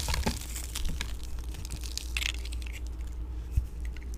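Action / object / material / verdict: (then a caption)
scrape / bar of soap carved with a metal blade / soap / none. A metal blade tool scrapes and carves a hand-held, solid pink oval bar of vintage dry Nordstrom soap, with flakes falling off. Dry, crisp crackles and crunches with a bright edge sit over a steady low hum, with one sharper snap near the end.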